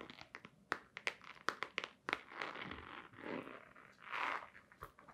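Long nails tap and scratch a hollow, long white cardboard box with a black stripe, held upright. Quick, dry, bright clicks come first, then give way to longer rasping scratches that swell and fade, with a few more light taps at the end.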